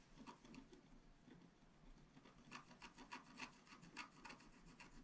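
A wooden stylus scratches rapidly across a flat black-coated scratch art sheet lying on a table, with the sheet held steady by the other hand. The result is a quiet series of quick, dry, rasping strokes, each a short bright scrape centred around 1 kHz, with the strokes coming faster and louder in the second half.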